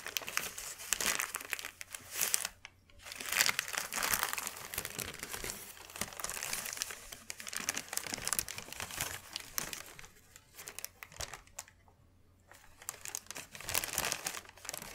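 A thin white sheet of wrapping paper is folded and pressed by hand, making dense, bright crinkling and crackling. The rustling comes in bursts with brief quiet pauses between them, and there is almost no low-end weight.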